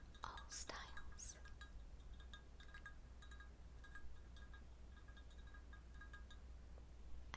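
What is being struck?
Square glass container.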